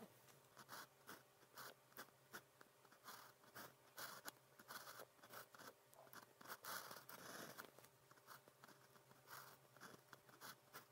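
A fine pen nib, on a blue plastic pen held in the fingers, is drawn across a cream grid paper sheet in writing strokes. It makes a quiet run of short, bright, scratchy strokes in quick bursts, with a faint steady hum underneath.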